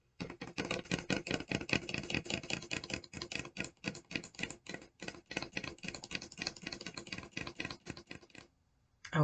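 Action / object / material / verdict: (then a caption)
tap / paper coffee cup with lid / paper / none. Long decorated acrylic nails rapidly tap and scratch the side of a large white McCafe paper cup with a red snowflake print and lid, held in one hand and likely filled with a drink. The result is a dense, crisp clicking patter with bright papery ticks and short dry decays. It stops briefly near the end before a final louder burst.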